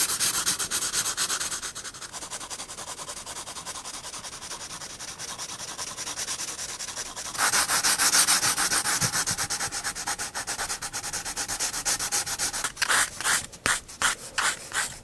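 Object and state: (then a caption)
Pencil shading on a paper sketchbook page. A 4B pencil shades a large dark area on a paper sketchbook page with rapid strokes, making a bright, dry scratching rub. The rubbing runs steadily, grows louder and brighter about halfway through, then breaks into short separate strokes near the end.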